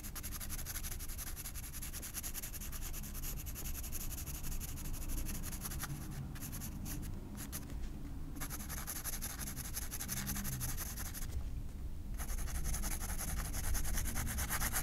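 A graphite pencil rubs and scratches shading strokes on the face area of a drawing on a white paper page of a spiral sketchbook. The result is a continuous, quiet, papery rubbing with a dense low-end texture and a scratchy high hiss. The high hiss briefly drops out during short pauses in the strokes.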